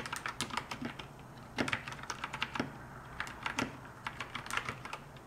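Continuous two-handed typing on a compact 60% plastic mechanical keyboard with pastel keycaps and a white plastic case, struck with fingertips and long nails. Bright, clicky keystrokes patter in quick, uneven bursts, and a few louder, deeper clacks stand out above a low steady hum.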